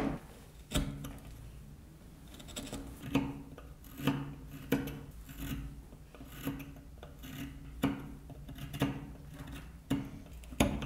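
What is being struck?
Small wooden toy wheel.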